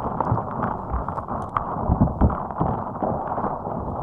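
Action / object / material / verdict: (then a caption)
scrape / soft rubber spiky puffer ball / rubber / none. A fist-sized, hot pink soft rubber spiky puffer ball resting on top of a microphone is squeezed and scratched with long acrylic nails. The result is a steady, muffled run of low rubbery squishes and scratchy rustling, with a few heavier thumps and almost nothing bright.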